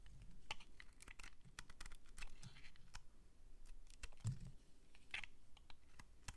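A metal utility-knife blade scrapes and shaves thin flakes off the top and edges of a solid, palm-sized white bar of soap held in the hand. A rapid series of short, crisp clicking scrapes follows, each dying away almost at once, with bright edges over a low, quiet rumble.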